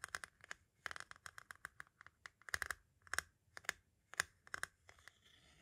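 A metal-tipped tool taps and scratches at the edge of the tape window on a white plastic audio cassette shell. About 22 quick, irregular, dry clicks sound with a bright ticking edge and a focus near 1.6 kHz. Faint scratchy rustles fill the gaps, and each hit dies away almost instantly at a quiet level.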